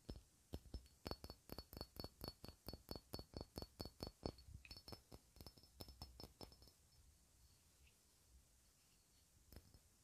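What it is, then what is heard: Cut glass ornament. A hand-sized, clear, faceted cut-glass ornament is held close and tapped with long red nails. A quick, steady run of short, bright clinks with a high glassy ring plays for about six seconds. The taps then thin out into faint scattered touches, with one last tap near the end.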